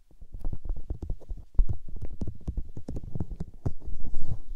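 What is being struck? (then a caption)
Silicone microphone ear. Long-nailed fingertips and palms rub, cup and press the soft, hollow white silicone ears of a 3Dio binaural microphone. The result is a rapid, continuous stream of deep, muffled thumps and rubbing, almost entirely low in pitch. A few brief bright clicks cut through, and a louder burst of pressing comes near the end.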